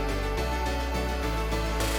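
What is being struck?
Nothing is struck.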